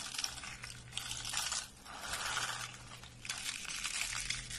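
A pile of hollow, curled, dry purple lavender soap shavings is pressed and crushed under a flat hand and fingers. It makes dense, bright, crisp crunching and crackling in three waves, each easing briefly before the next press, over a faint steady low hum.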